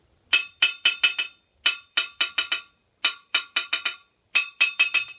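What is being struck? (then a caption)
Steel anvil struck with a steel hammer. A yellow-handled steel hammer is dropped onto the face of a large solid steel anvil on a steel stand and bounces in rapid taps. It gives 19 bright, metallic pings in four quick bursts of four or five hits each. Each ping carries a high ringing tone that decays quickly between taps.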